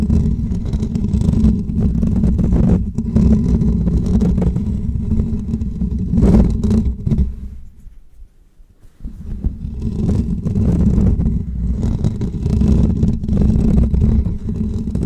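Short natural fingernails of both hands scratch across the hollow, rounded woven metal mesh grille on top of a pink USB microphone. The result is a dense, boomy, low rumbling scrape with rapid, uneven strokes. It fades almost to silence around the eighth second, then picks back up and continues to the end.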